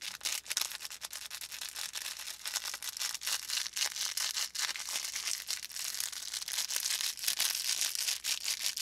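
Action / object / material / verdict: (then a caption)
scrape / stuffed felt plush toy with crinkly filling / felt / none. A small stuffed felt volcano plush with a faux fur top and crinkly filling is held in both hands while fingers squeeze and rub its felt surface. A dense, bright crinkling and crackling runs continuously, made of many quick, dry snaps with almost no low end.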